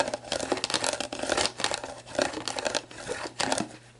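Long black nails scratch and tap the label of a hollow, mostly empty clear plastic sports drink bottle lying on its side. The label crinkles in dense, bright bursts of scratching and tapping with short, dry decays. A faint low hum runs underneath throughout.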